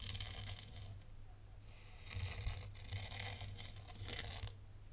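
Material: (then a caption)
Sand. A thin black stylus held in the fingers draws lines through fine white sand in a tray, scratching through the grains. Crisp, bright, crunchy scraping comes in several strokes with short quieter gaps between them, over a steady low hum.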